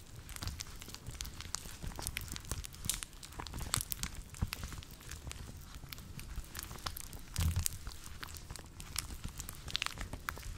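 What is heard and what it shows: A pair of long teal rubber household gloves, worn on both hands and apparently still dry, are rubbed, clasped and slid against each other. The rubber-on-rubber friction makes a dense run of short squeaks, crinkles and crackling snaps over a low rumble. Brighter, louder bursts come near 3–4 seconds and around 7.5 seconds.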